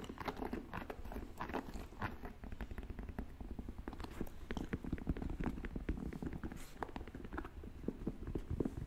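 Fingertips and nails tap and scratch a white, black and purple Air Jordan 1 Mid sneaker with a leather upper, held up close. The result is a dense run of soft, quick clicks and scratchy rasps with a low, muffled body and little high-end brightness.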